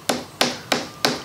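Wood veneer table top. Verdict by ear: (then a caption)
Loose. Four finger taps on the wood veneer top of a Depression-era table, over an area where the veneer has come loose. Each tap gives a high-pitched, snare-drum-like thud with a short, bright ring, unlike the solid thud of sound veneer. This shows the loose veneer that needs repair.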